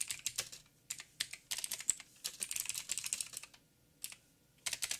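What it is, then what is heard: Mechanical keyboard with plastic keycaps. Fingertips of both hands type on a backlit mechanical keyboard with black plastic keycaps on a silver frame and a hollow housing. Bright, sharp clicks come in quick bursts separated by short pauses, each tap dying away almost instantly with very little low end.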